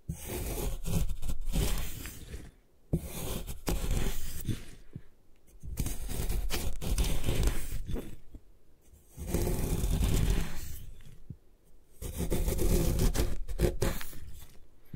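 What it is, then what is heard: Gym chalk block scraped. A metal putty knife blade scrapes across and gouges the top surface of a solid white compressed gym chalk block, breaking off chalky flakes. The scraping comes in long swelling passes with pauses between, a gritty, crumbling rasp with much of its weight in the low end.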